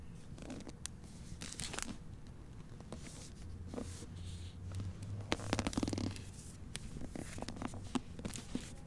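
A hardcover novel, *Most Wanted*, in a clear plastic library dust jacket is held in both hands and turned from back to front, then its paper pages are flipped with the fingers. Soft, quiet crinkling of the plastic cover mixes with bright, quick rustles and flicks of the turning pages, over a low steady rumble.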